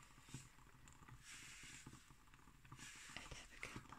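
Long green nails and fingertips scratch and rub across a solid, light pine wooden tabletop. Soft, airy scraping swells in and out, mixed with faint low taps and brief bright clicks from the nails on the wood.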